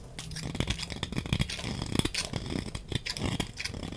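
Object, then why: Glycerin soap bar. A utility knife blade shaves thin flakes off the surface of a hand-sized, solid, dry green translucent glycerin soap bar held in one hand. A quick, steady run of crisp scraping and cutting strokes gives a full, low body with a bright, crackly edge. Each stroke dies away almost at once.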